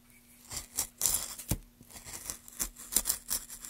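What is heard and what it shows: A gloved hand carves a solid, light wooden plank with a metal gouge, scraping off curls. A quick series of short, dry, bright scraping cuts rises and falls in loudness, with little low end and a faint steady low hum underneath.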